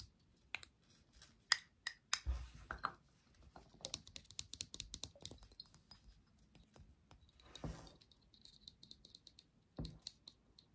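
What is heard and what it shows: A small clear glass perfume bottle with a metal cap, partly filled with liquid, is held in both hands and tapped and scratched with fingertips and nails, including around the cap. Quiet, sharp clicks and taps come in irregular clusters with brief scratchy bursts, and each tap leaves a faint, high, bright glassy ring that dies away almost instantly.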